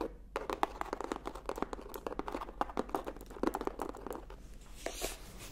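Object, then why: Hardcover paper book. Rapid, crisp nail taps and scratches on a hardcover book, dry and clicky with no ring.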